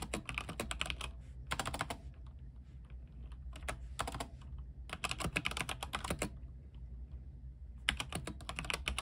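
A compact mechanical keyboard with white plastic keycaps, RGB backlight and a silver case sits on a desk and is typed on with the fingertips of both hands. Bursts of many quick, bright, clacky key presses with short, dry decays are separated by brief pauses. A steady low hum runs underneath.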